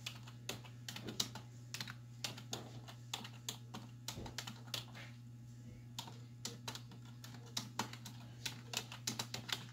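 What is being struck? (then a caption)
Plastic computer keyboard keys. Both hands with long white nails type on a black plastic desktop keyboard with hollow keys resting on a wooden desk, striking with fingertips and nail tips. Short, bright, clacky key taps come in quick irregular bursts, each dying away almost instantly. A steady low hum runs underneath.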